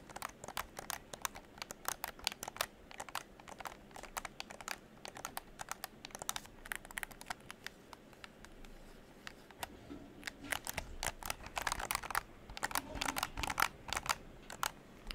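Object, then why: Plastic game controller shell. A hollow pink plastic game controller is held over the microphone while fingertips and nails tap and scratch its shell and press its buttons. The result is a steady stream of quick, dry, bright clicks and taps that die away almost instantly, with denser scratchy rustling in the later seconds.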